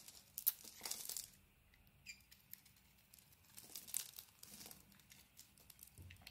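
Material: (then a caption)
Soap. A beige Penaten solid bar of soap held in the hand has its surface carved off with a blade, revealing the white interior. Quiet, bright, crisp scraping and crinkly shaving sounds come in bursts, loudest near the start and again around the fourth second, with soft scattered ticks between them.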